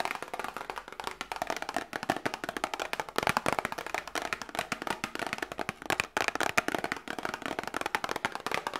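A small hollow cardboard medicine box is held up close and tapped rapidly with long nails. It makes a fast, steady stream of dry, hollow clicks with a mid-range papery tone and almost no low end. Each tap dies away instantly.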